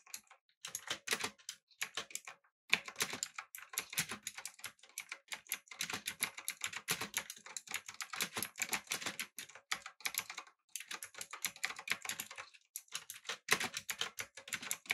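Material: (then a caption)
Plastic. Fingertips type rapidly on a backlit, typewriter-style mechanical keyboard with an aluminum frame and round plastic keycaps. Fast, crisp, bright clacks come in steady bursts, with a few short pauses and little low-end thump. Each keystroke dies away almost instantly.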